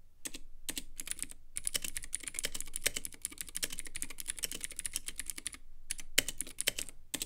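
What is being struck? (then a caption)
Plastic mechanical keyboard with acrylic case. A Womier K66 compact mechanical keyboard with Gateron Blue switches, white plastic keycaps and a clear acrylic RGB case is typed on with the fingertips. Bursts of bright, sharp clicks come in quick runs with short pauses between them. The typing ends with one hand pressing a few keys.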